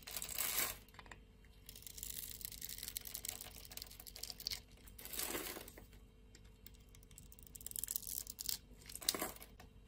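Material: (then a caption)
Soap. A metal blade scrapes across a solid, grid-scored blue and white striped bar of soap held in the hand, cutting off small cubes. Bright, crisp scraping and crackling runs throughout, swelling into louder bursts near the start, middle and end as pieces break away.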